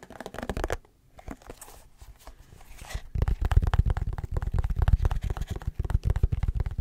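A small white plastic butter tub with a green label, held in both hands, is tapped and scratched with the fingertips and nails. A burst of quick taps gives way to quieter, sparse scratching. From about three seconds, dense low, thudding taps resume and continue to the end.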